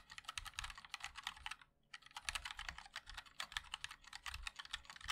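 Fingertips of both hands type continuously on a compact 60% MOD-L mechanical keyboard with a black case, white and black plastic keycaps and linear switches. Rapid, bright, short clicky taps come in dense bursts, with a brief pause near the two-second mark before typing resumes.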